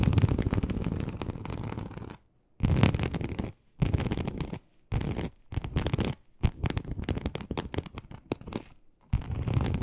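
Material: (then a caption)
Leather. Very long acrylic nails on both hands scratch across a large, flat, teal snakeskin-embossed leather sheet, likely faux, lying on a surface. The sound is a dense, low rasping scrape in several bursts separated by short silences.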